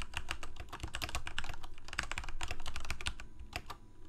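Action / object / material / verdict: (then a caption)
tap / plastic mechanical keyboard / plastic / none. Fingertips of both hands rapidly press the keys of a full-size black plastic Corsair K68 mechanical keyboard with Cherry MX Red switches and blue backlit keycaps, resting on a white desk. The result is a steady, irregular stream of short, crisp clacks with a low thock beneath each press and almost no ring.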